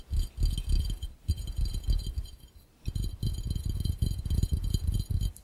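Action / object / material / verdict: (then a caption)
tap / glass fishbowl / glass / none. Fingertips tap rapidly on the base and rim of an empty, hollow, round clear glass fishbowl held up in the air. The quick taps sound mostly as low, dull thumps with a faint, bright glassy ring above them, each dying away almost at once. There is a short lull near the middle before the tapping picks up again.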